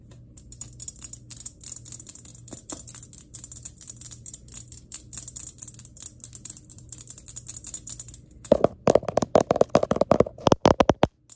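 Long fingernails tap rapidly on a glass electric globe, making sharp, dry clicks with a bright, high edge. The tapping runs steadily and lightly for most of the clip, then turns louder and more forceful with a ringing tone near 580 Hz before stopping.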